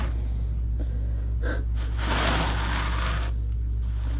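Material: Nothing is struck.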